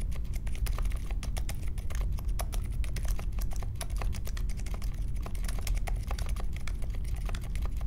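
Fingertips type steadily on the plastic keycaps of a compact Polaris mechanical keyboard with Silent Alpaca switches and a metal case, resting on a marble desk. Fast, even, muted key clacks are heard, each short and soft, with a deep low thump beneath brief bright ticks.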